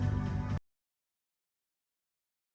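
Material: Nothing is struck.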